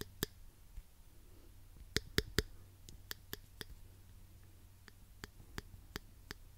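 A small pink plastic claw hair clip, hollow with toothed jaws, is squeezed and clicked with the fingers close to the microphone. About a dozen short, sharp, bright clicks are spaced irregularly, with a tight cluster of three louder snaps near the middle, over a faint low hum.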